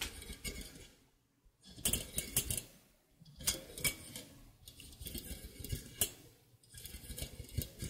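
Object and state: Metal egg slicer.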